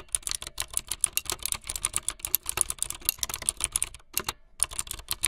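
Fingertips with long light-blue nails type fast on a full-size plastic mechanical keyboard with white, blue and yellow plastic keycaps and a blue backlit frame. A rapid stream of sharp, bright plastic clacks with very short decay and little low end is heard, with a brief pause near the end before the typing resumes.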